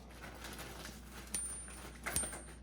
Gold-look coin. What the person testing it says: A little bit better, but still a horrible comparison.